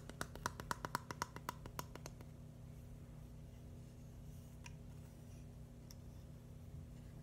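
A flat, palm-sized red-and-white mushroom built from plastic Lego bricks with solid studs is tapped and scratched with fingernails. A quick run of crisp, bright clicks sounds for about two seconds, then fades into a steady low background hum with a couple of faint, isolated ticks.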